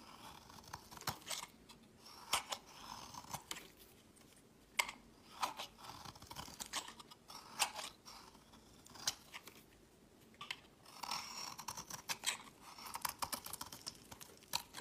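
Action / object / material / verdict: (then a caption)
scrape / soap bar scraped with a metal blade / soap / none. A metal blade scrapes and shaves thin flakes from a solid, palm-sized pink soap bar held in the fingers, letting them fall into a pile. Crisp, bright crunching scrapes come in short, irregular strokes with almost no low end. Each stroke cuts off quickly, and quiet gaps fall between bursts.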